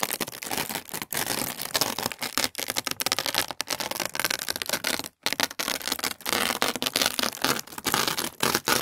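A large, flat sheet of thin, translucent tissue paper is held in both hands over a wooden table and pulled and flexed. This produces a continuous bright, crackly rustle with bursts of tearing sound, broken by a few brief pauses.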